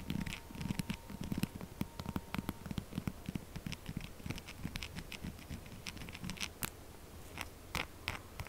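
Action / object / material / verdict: scrape / textured soap bar / soap / none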